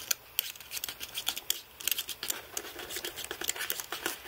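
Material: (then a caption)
Plastic. Fingertips press and rub across the rows of plastic keys on a white aluminium-framed computer keyboard. The result is a quick, irregular run of soft, bright clicks and light scratchy rubbing, with crisp high-end ticks and almost no low end.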